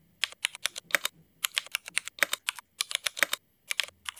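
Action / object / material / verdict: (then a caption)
tap / mechanical keyboard with plastic keycaps / ABS plastic / none. A mechanical keyboard with black ABS plastic keycaps, likely Cherry MX, is typed on quickly with the fingertips of both hands. The result is bursts of short, bright, sharp clicks that die away almost instantly, with brief pauses between runs of keystrokes.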